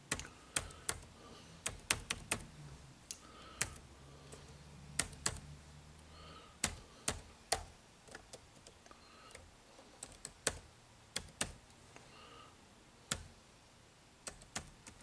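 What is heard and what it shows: Fingertips type continuously on an HP laptop's plastic keyboard with dark plastic keys, giving about 28 sharp, bright clicks at an uneven pace. Each tap dies away almost at once over a faint low hum.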